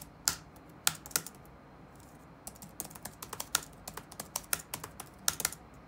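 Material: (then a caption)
Plastic. Fingertips of both hands tap rapidly on the black plastic keycaps of a dark laptop keyboard resting on a wooden desk. Sharp, bright clicks come in uneven bursts, a few isolated strokes early on and then a quicker run of typing over a faint background hiss.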